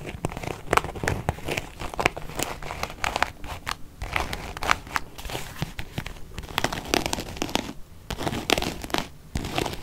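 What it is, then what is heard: Faux leather zip wallet. A small beige quilted faux-leather zip-around wallet, closed, is scratched with long painted nails. Quick, dry scratching strokes follow one another continuously for the whole clip, with bright crinkly rasps over a soft low rustle.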